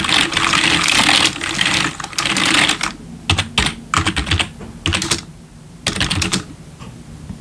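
Both hands type with bare fingertips on a full-size black plastic membrane gaming keyboard with RGB backlit keys, resting on a wooden desk. A dense, bright clatter of key taps runs for the first few seconds, then breaks into short, quick bursts of tapping separated by quieter pauses.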